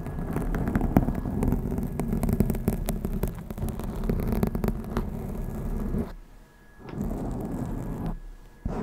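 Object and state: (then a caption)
Foam microphone windscreen being scratched. Long acrylic nails on both hands scratch and rub the soft, porous black foam windscreen covering the top of a Blue Yeti microphone. The result is a dense, low, rumbling scratching and whooshing that runs almost continuously, with short busy crackles over it. It drops out briefly twice near the end before resuming.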